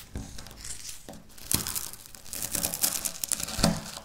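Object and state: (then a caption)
Dry wafer biscuit crumbs. A pile of dry wafer biscuit crumbs on a stone surface is crushed and scratched with long natural nails. Dense, bright crinkling crunches and scraping come in a quick irregular stream, with sharper crackling bursts standing out. Each sound is short and dry, with almost no ring.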